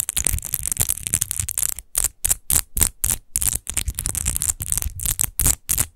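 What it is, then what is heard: Textured glass wine bottle. Long nails quickly scratch the rose-textured base of a large, hollow, clear glass rose-shaped wine bottle that appears empty. A dense run of scratching gives way to a rapid series of separate short scrapes. Each scrape is bright and hissy over a faint low rumble.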